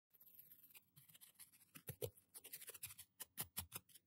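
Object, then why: Plastic toothbrush with nylon bristles on fingernails. A small blue-and-white plastic toothbrush with a solid handle and nylon bristles is held in one hand and scrubbed back and forth across the fingernails of the other hand. Quiet, bright scratchy rubbing comes in quick, separate strokes with a dry bristly hiss, and the strokes grow sharper and louder toward the end.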